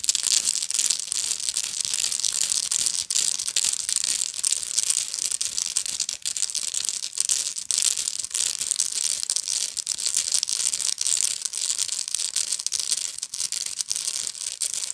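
Long nails scratch the coiled weave on the bottom of a medium, hollow woven straw bag, with the bottom facing the camera. The result is a steady, dense, bright scratching and crinkling with rapid short strokes and almost no low end.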